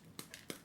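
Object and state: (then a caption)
Rotten cactus stem, hollow. Three quick taps on the stems of a Mammillaria elongata cactus give short, dull, hollow knocks, the middle one softer. The hollow sound shows the stems have rotted and are completely gone, and the whole plant is rotten.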